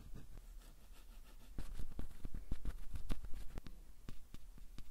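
A thin wooden stick held in the fingers scratches and then taps the metal grilles of the two microphone capsules on a stereo recorder. Soft, close scratching gives way to an uneven series of dry, sharp clicks over a steady low hum. Each tap dies away almost instantly.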